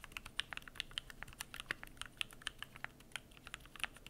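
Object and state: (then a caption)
Mechanical keyboard with plastic keycaps. Fingertips type continuously on the PBT plastic keycaps of a Keychron Q1 aluminum mechanical keyboard, producing a quick, steady stream of crisp, bright clicks. Each keystroke is short with almost no ring, over a faint low background.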